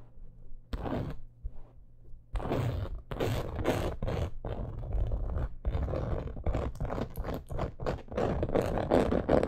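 Long acrylic nails scratch quickly across a black crocodile-embossed leather purse in dim light. After a brief quiet start, the clip becomes a run of rough, dry scrapes and soft thunks in short, irregular bursts. They grow denser and louder toward the end, with a heavy low body and almost no ring after each stroke.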